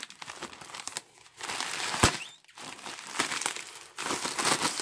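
A torn-off, empty piece of grey star-printed polyethylene mailer bag is crumpled and squeezed into a ball in a gloved hand. Bursts of dry, bright crinkling rise and fall with brief quiet gaps, and a single sharp crackle stands out around two seconds in.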